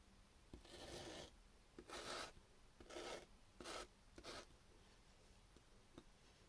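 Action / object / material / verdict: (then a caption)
scrape / raw potato chunk on sandpaper / potato / none. A small, solid raw potato chunk held in the fingertips is scrubbed across sandpaper in five short, bright rasping strokes, with faint taps in between and after. The scrubbing leaves grated potato pulp and liquid behind.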